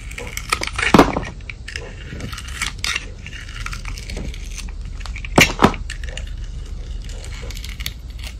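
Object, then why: Soap bar with glitter crust, scraped by a metal blade. A palm-sized solid white soap bar coated with silver glitter has its glitter crust scraped off with a metal utility blade. The scraping gives a steady dry, gritty crackle with bright hiss. Two louder crunching scrapes stand out near the start and again about two-thirds of the way through.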